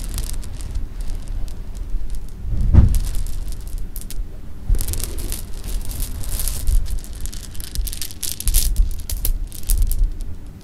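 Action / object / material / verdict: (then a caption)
shake / pile of sugar-coated jelly beans / candy / none. A pile of small, solid, sugar-coated jelly beans on fabric is gathered and shaken by both hands, then dropped from a cupped hand. Soft, bright clicking and rattling rides over a low, muffled rustle, with a duller thump early on. Denser bursts of crisp patter come as the beans are shaken and fall.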